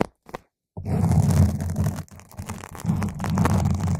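Long nail tips scratch around the surface of a round purple foam microphone cover. After a couple of faint taps and a short silence, a dense, deep rumbling scrape sets in, dips briefly near the two-second mark, then continues with crackly, muffled friction to the end.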